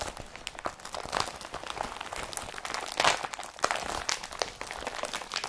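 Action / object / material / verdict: scrape / woven polypropylene carrier bag / polypropylene / none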